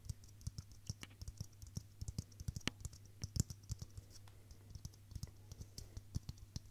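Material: Plastic.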